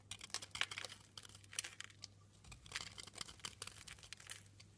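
A utility knife blade scrapes and cuts crumbs from the edge of a solid light green bar of soap held in the fingers. The sound is a quiet, dense run of crisp, bright crunching and crackling scrapes in irregular bursts, with a faint steady low hum underneath.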